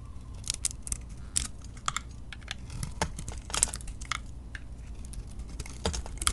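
A utility knife blade shaves the surface off a hand-held solid soap bar with a glittery blue-yellow coating and a lilac interior. Quick, crisp scraping strokes crackle brightly in irregular bursts, each ending sharply, over a steady low rumble.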